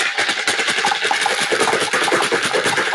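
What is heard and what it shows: Several goldfish crackers are shaken inside a lidded box, making a continuous dry, rapid rattling and rustling of small light pieces tumbling against the container walls. The sound is bright and busy with no low-end weight, pulsing steadily with each shake for about three seconds.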